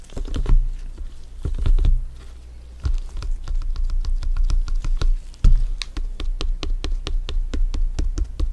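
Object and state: Synthetic leather soccer ball.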